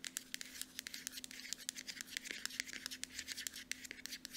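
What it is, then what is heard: Plastic lotion bottle. Long nails tap and scratch rapidly on the body of a small cream Aveeno moisturizer bottle, a hollow plastic lotion bottle with a mint-colored cap. Quick, bright, dry clicks come in an irregular stream over a soft scratchy hiss, with a faint steady low hum underneath.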